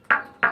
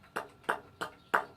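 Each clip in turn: First: dense metamorphic rock. Second: light porous scoria rock.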